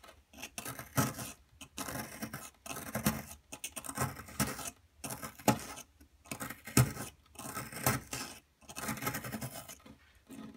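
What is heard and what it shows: A solid blue plaster excavation dig block is scraped and chipped with a wooden-handled metal pick, leaving crumbled blue plaster powder around it. Bursts of gritty, rasping scraping alternate with brief pauses, a few sharper chips standing out.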